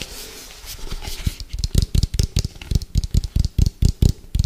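Fingertips tap quickly on the side of an orange, hollow, round plastic food container with a white lid, held sideways. After a soft, bright rustling start, about fifteen short, dull, low thumps come in a fast, uneven rhythm, each dying away almost instantly.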